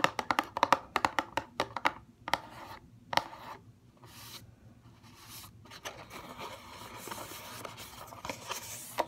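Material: Paperboard.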